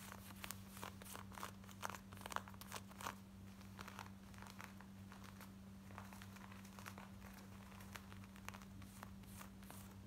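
Long nails scratch fast along the seams and back pocket of worn, light blue distressed denim shorts, producing quick, dry, crackly scratches with bright texture. Beneath them runs a steady low hum.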